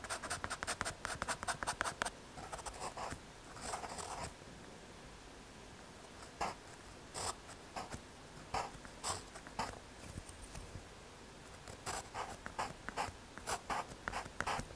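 A graphite pencil scratches across a small, flat, solid brown MDF/hardboard panel as a coffee grinder is sketched on it, with fingertips holding the board. Quick dry, bright scratchy strokes come in a dense run for the first two seconds, then softer shading follows. After a quiet pause, scattered short strokes return and build into another busy run toward the end.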